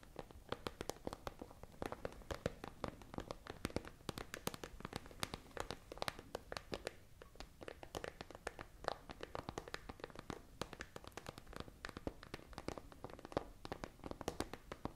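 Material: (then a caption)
Plastic. Long nails scratch and tap rapidly across a tall, hollow, transparent iridescent holographic plastic pencil case with pens inside. The result is a dense, continuous stream of short, dry clicks and scratchy rasps with no ringing.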